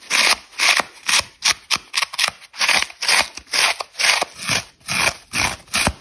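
Long red nails scratch the dry foam face of a rectangular orange polyurethane foam kitchen sponge with a green scouring layer, held in one hand, as crumbs fall off. About 17 quick, slightly uneven bursts of bright, hissing scratching follow one another at roughly two per second, dry and with almost no low end.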